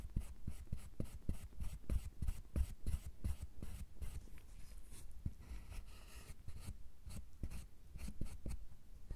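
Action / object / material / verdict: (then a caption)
scrape / milk chocolate bar scraped with a metal tool / chocolate / none. Metal carving tools scrape and scratch the surface of a solid milk chocolate bar, producing a rapid series of short, dry strokes with bright, crisp edges over a low rumble. The strokes are quick and uneven, easing off briefly in the middle before picking up again.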